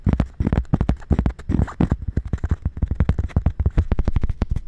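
A round, thin, solid cork coaster held against the side of a dummy-head microphone near the ear is tapped and scratched with long red nails. The result is a rapid series of short, dull, low-heavy taps with almost no ring, mixed with brief soft scratching.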